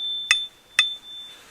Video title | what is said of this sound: Axe Mania (Part 2) - Bringing Old Soviet Axes Back to Life 1080 HD | that really Rings like a bell